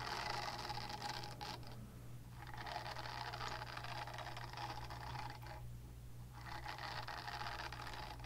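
Long dark-painted nails scratch a small pink oval silicone face-cleansing pad with bristle nubs, solid and flexible, held close to a fluffy microphone. Dense, crackly scratching rasps in bright bursts, with brief pauses around two and six seconds, over a steady low hum.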